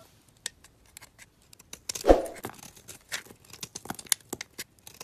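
A box-cutter blade shaves a small, round, solid white bar of soap held in fingers with long dark nails, cutting it into powdery flakes. A string of short, crisp, dry scrapes and ticks sounds, with one louder, fuller scrape near the middle. Each scrape ends quickly with almost no ring.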